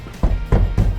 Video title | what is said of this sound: 이걸 모르고 혼다 어코드 하이브리드 샀다가 후회합니다 - 중고차 구매대행 | 이렇게 둔탁한 소리가 나야 되거든요